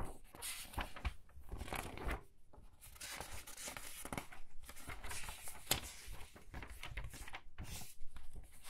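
Thin paper pages of a large hardcover book lying open on a table are lifted and flipped quickly by both hands with long red nails. The page turns come as a steady run of papery swishes, crinkles and soft flaps with low thumps, overlapping with little pause between them.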